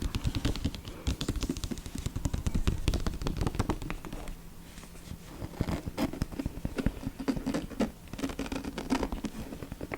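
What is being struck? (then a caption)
Hardcover book cover. Fingertips tap and scratch rapidly on the glossy, seashell-printed cover of the hardcover novel "High Tide." The sound is a dense run of soft, dull, low-pitched taps mixed with brief scratching.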